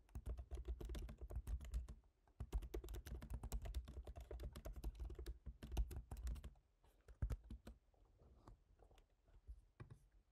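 Both hands type rapidly with their fingertips on a MacBook Pro keyboard, tapping black plastic keycaps set in a silver aluminum body. Dense bursts of short, dry clicks with a soft low thump are broken by a brief pause near two seconds. After about six and a half seconds the typing thins to sparse, quieter taps.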